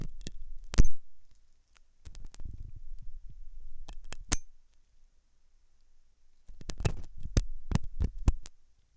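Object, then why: Silicone dummy ear of a binaural microphone. A thin hooked metal dental tool scratches inside the ear canal of a white, soft, solid-looking silicone dummy ear on a binaural microphone. Close, deep scraping rubs come in three bursts, with sharp clicking ticks from the tool inside them. Several of these ticks stand out strongly.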